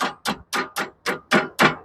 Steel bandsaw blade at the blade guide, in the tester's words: You hear that click? So that click tells me I have clearance up.